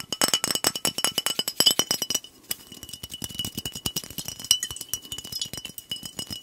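A glass soda bottle with a blue cap is held horizontally while fingernails tap quickly along its body. The result is a rapid stream of bright, clinking glass ticks with a faint ring near 3 kHz that dies away almost instantly. There is a brief pause just past two seconds before the tapping resumes.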